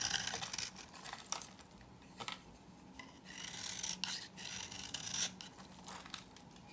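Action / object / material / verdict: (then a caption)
scrape / bar soap scraped with a knife / soap / none. A knife blade scrapes a hand-held old, dry pink soap bar with an embossed logo, shaving off curls. The scraping comes as a series of dry, bright, rasping strokes with quick decays and little low end, at a fairly quiet level.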